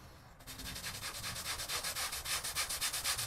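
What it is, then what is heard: Pile rug being scrubbed with a brush. A long-handled bristle brush scrubs a small grey patterned pile rug, wet and foamy, in back-and-forth strokes. After a brief quiet start, a bright, hissing, wet scrubbing rises into a steady rhythm of about four strokes per second, each swish pulsing in loudness.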